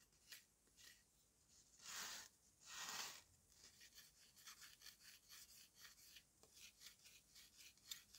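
A yellow-handled steel knife blade scrapes and shaves the dry surface of a solid dome of dried red mud cake dusted with colored powder, while the other hand steadies it. Two long, loud, bright scrapes come first, followed by a run of short, quieter, gritty shaving strokes that are mostly high in tone.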